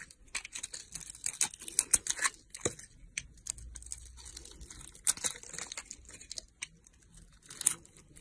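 A box-cutter blade carves and scrapes chunks off a solid red bar of soap held in long-nailed fingers. The result is a rapid, irregular run of crisp, bright scrapes and crumbly crackles, with a few sharper cuts standing out against a quiet background.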